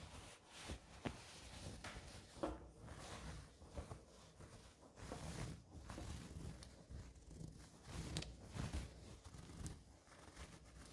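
Long orange nails and fingertips scratch and rub a soft orange and white cotton terry kitchen towel. The result is quiet, dry scratchy rustling with occasional sharper scrapes over a low, muffled rumble.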